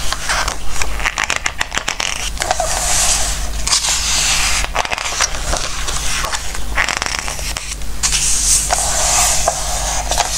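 Fingertips rub and scratch along the glossy paper pattern pages of a Christmas book and turn them, giving bright, dry scraping and crackling rustles. The page turns swell into louder, hissy sweeps over a steady low hum.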